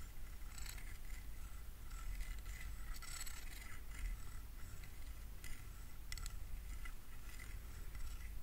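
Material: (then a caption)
Plastic. A fingernail runs across and plucks the teeth of a solid translucent plastic hair comb held up in one hand, in a scratching, strumming motion. Quiet, bright raspy strums and ticks come in scattered bursts over a steady low rumble.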